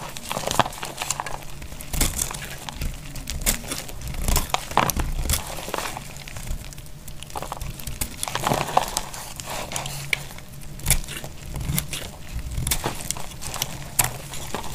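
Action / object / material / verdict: scrape / bar soap scraped with a knife blade / soap / none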